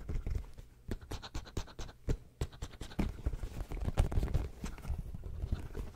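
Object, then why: Soft rubber squishy pig toy. Fingernails scratch the surface of a hand-sized, solid, squishy purple soft rubber pig toy with pink dots. A fast run of short, dull scratching strokes is heard, mostly low and thumpy with little brightness. Each stroke stops almost at once.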